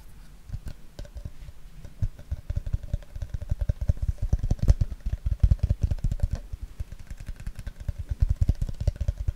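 An empty, hollow, clear plastic water bottle is held upright close to the mic and tapped and scratched with the fingertips. The result is a rapid, uneven run of short, dull, bassy taps with faint light scratching and a soft hollow ring between them.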